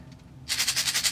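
A closed plastic Easter egg filled with popcorn kernels is shaken as a homemade maraca. After a quiet start, a bright, dry rattle of the kernels begins about halfway through and pulses in repeated bursts.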